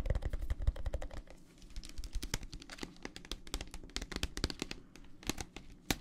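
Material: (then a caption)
Plastic. Fingertips tap rapidly on the walls of a clear plastic tumbler full of teal gel water beads, held horizontally and then upright. Dense, dry, clicky taps with short bright transients sit over a low, soft thud, ending almost instantly with no ring.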